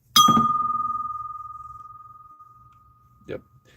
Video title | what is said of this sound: 🎥 Live Auction Reveal! Mickey Mouse, Pepsi, Longaberger & Vintage Treasures Galore! | Glass doesn't ring. See it? Uh, crystal rings. Glass just kind of tinks and it's kind of a a dead sound.